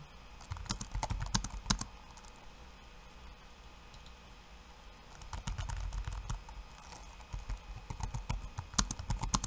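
Bare fingertips tap rapidly on the plastic keycaps of a backlit laptop keyboard, producing quick bursts of dull thuds with bright clicking edges. A flurry of typing gives way to a quieter stretch of a few seconds, then the tapping resumes and continues to the end, peaking near the finish.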